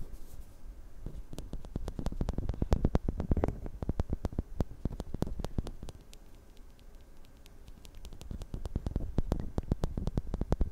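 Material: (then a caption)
Metal. A woman scratches and taps the small metal grille of a handheld recorder's X/Y microphone capsule with her fingertips and nails. Sharp, rapid clicks and taps crackle over a boomy, low scratching rumble. The sound eases into a quieter stretch midway before the tapping picks back up.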